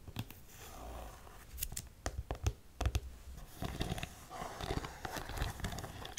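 A black studded faux suede boot is held up while long nails tap on the suede and the studs. Short, dry, sharp clicks arrive in irregular bursts over a soft, rustling scratch, with no ring after each tap.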